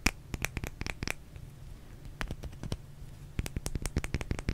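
A small solid white bar of soap held in the hands is scratched with long nails and tapped. Sharp, dry clicks and scrapes come in quick bursts with brief pauses between them, over a faint low hum.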